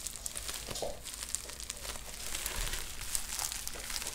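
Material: Plastic.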